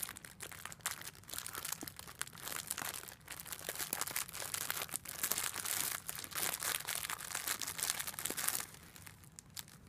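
A small pink makeup sponge in a clear, crinkly plastic wrapper is held in the hand and squeezed and crinkled with fingertips and long black nails. The result is a dense, continuous run of sharp, bright plastic crackles and crinkles, mostly high-pitched, that fades away near the end.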